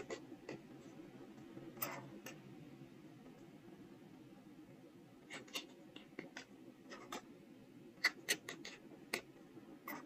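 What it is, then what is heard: Soft stone seal being carved. A steel carving knife with a wrapped handle scrapes and scratches characters into the face of a small, solid, square soft stone seal block, about 2–3 cm across and held in the fingers. Quiet, bright, gritty scraping is broken by short, sharp, irregular ticks and scratches over a faint low background.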